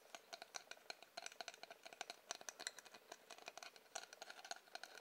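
Rapid tapping on a wooden object produces a quick, uneven series of dry, sharp clicks. The taps sound bright and crisp, with almost no low end, and each one dies away almost instantly.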